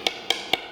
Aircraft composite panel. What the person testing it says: 이렇게 맑게 올려야 되는데 이것이 이렇게 둔탁하게 우린 다 그러면 아 내부의 빈공간이 있다 라고 생각하시면 됩니다